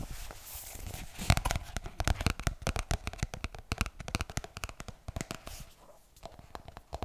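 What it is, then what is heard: Paperback book with glossy card cover. Fingernails scratch and tap the glossy card back cover of a closed pink paperback book, held close while it is handled and turned. A rapid run of short, dry clicks and taps over scratchy rustling, with a stronger knock early on, then a brief quieter stretch before the taps resume at the end.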